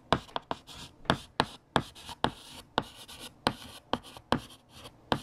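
A hand writes on a large, flat, solid black chalkboard with a light blue chalk stick. About 13 sharp chalk taps are each followed by a short, dry scratching stroke with a bright, hissy edge, in an irregular writing rhythm.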